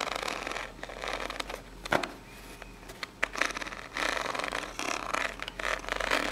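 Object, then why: Corrugated cardboard box. Long pink nails scratch along the ribs of a small, hollow, brown corrugated cardboard box held in the hands. Bursts of dry, bright scratching rise and fall, with a few sharp clicks standing out in between.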